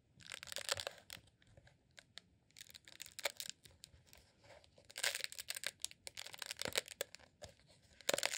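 A green honeycomb beeswax tube, a rolled beeswax sheet candle, is held in both hands and squeezed and scratched with the fingertips. It makes dense, bright, crinkly crackling and tearing-like scrapes in uneven bursts, with quiet gaps between them and almost no low end.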